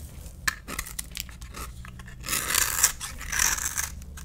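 A utility knife blade scrapes and carves a solid rectangular lime green bar of soap held in the palm, cutting it into shavings. Short, bright scratchy strokes and light clicks come first, then longer, denser rasping scrapes build up in the second half of the clip, with little low-end weight.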